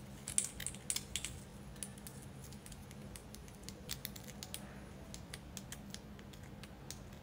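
A solid white tiered carved selenite crystal tower, held close, is tapped and scratched with long decorated acrylic nails. Many quick, bright, sharp clicks and light scrapes come in irregular bursts, loudest early on, over a low steady hum.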